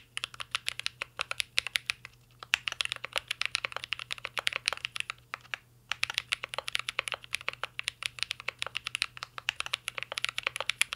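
Two hands type steadily with their fingertips on a full-size mint-green Cyberboard R3 mechanical keyboard with a metal case, plastic keycaps and Holy Panda switches, resting on a desk. The keystrokes are rapid, crisp, bright clacks that die away almost instantly, with brief pauses near 2.5 and 5.8 seconds. A faint steady low hum sits underneath.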